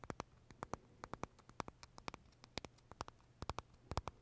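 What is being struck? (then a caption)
Macaron with crisp meringue shell. Short fingernails tap and scratch the crisp shell of a large pale green pistachio macaron held in both hands. A quick, irregular run of light, dry clicks with a little bright edge sits over a faint, steady low hum, each tap dying away almost instantly.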